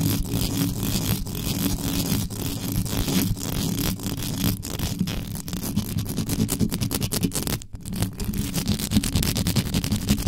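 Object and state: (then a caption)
Metal microphone grille being scratched. Very long pointed acrylic nails from both hands scratch fast, right on the round, hollow, uncovered metal mesh grille head of a large black USB condenser microphone. The result is a dense, continuous rasping and rumbling scrape that is heavy in the low end, with a rough, rapid texture. It keeps a steady loudness apart from a brief dip near the eight-second mark.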